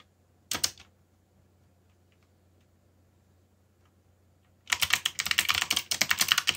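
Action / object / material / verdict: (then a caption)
tap / plastic mechanical keyboard / plastic / none. Both hands type quickly with their fingertips on a backlit mechanical keyboard with black plastic keycaps. A short burst of sharp, bright clicks is followed by a few seconds of near silence over a faint low hum. Then rapid, uneven clacking keystrokes run steadily to the end.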